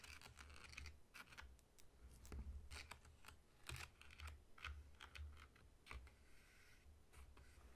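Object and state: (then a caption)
Whole pineapple. Fingertips and short nails of one hand tap and scratch the scaly rind of a whole, solid pineapple lying on a table. Quick, crisp clicks and bright scratchy rasps come in irregular bursts over a soft, low thudding from the fruit's body, each sound dying away almost at once.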